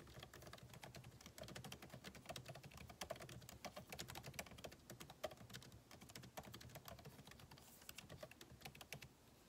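Fingertips of both hands type rapidly on a backlit MacBook Pro keyboard with plastic keycaps in a solid aluminum body resting on a desk. The clip is a steady stream of quick, crisp, bright clicks with a soft low thud under each tap. Each click dies away almost at once, with no ring.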